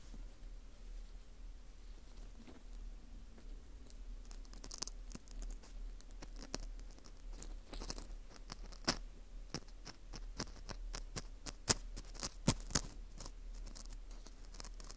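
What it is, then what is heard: Dried wheat gluten (fu) scratched. A thin metal hook pick scratches inside the hole of a dry, porous ring of dried wheat gluten (fu) held in a gloved hand. Soft, irregular crackles and crisp, bright scrapes sound over a low background hum, growing busier and sharper in the second half with a few louder snaps.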